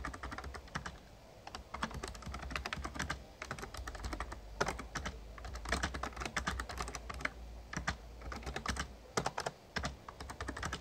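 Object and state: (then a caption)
Plastic membrane keyboard being typed on. Fingertips of both hands type rapidly on an RGB-backlit plastic Razer Ornata Chroma membrane gaming keyboard with a hollow casing. Quick, dry key taps come in bursts and short pauses over a steady low hum, each click bright and dying away almost instantly.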